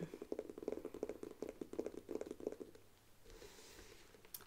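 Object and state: Faux leather handbag tapped with fingernails.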